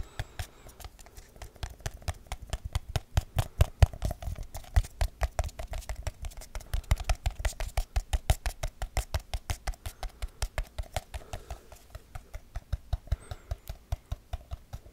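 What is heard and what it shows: Fingertips and nails tap quickly on a small, round, hollow aluminum tin with a lid, held in both hands near the microphone. About 77 rapid, dry taps form a steady patter of dull, low, hollow knocks with short, faint bright clicks from the nails. Each tap dies away almost instantly.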